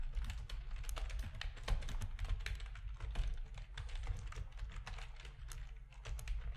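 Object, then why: Plastic computer keyboard. A full-size black plastic RGB-backlit keyboard with a hollow plastic housing sits on a desk while the fingertips of both hands type on its keys. Quick, dense key clicks and taps patter steadily with short, dry bright transients over a constant low hum.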